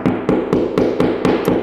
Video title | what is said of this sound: How To Install Shiplap On Interior Walls | Sounds like the studs on this side of this electrical box.